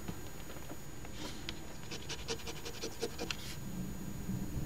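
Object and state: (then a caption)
Scratch-off lottery ticket being scraped. A $10 OLG Crossword Deluxe instant scratch ticket (#3354) from the Ontario Lottery, a flat paper ticket with a scratch-off coating, lies on a table, held by one hand while the edge of a coin pinched in the other hand's fingertips scrapes across it. Quiet, repeated scratching strokes come through as short bright, rasping bursts over a steady low background hum.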